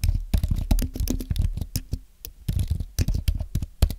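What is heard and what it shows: Both hands type with their fingertips on a thin, solid white Apple Magic Keyboard with an aluminum base and plastic keys, tapping the keys in a quick, uneven run. Each keystroke is a short, dull, low-pitched tap that stops almost instantly, with a little bright click on top.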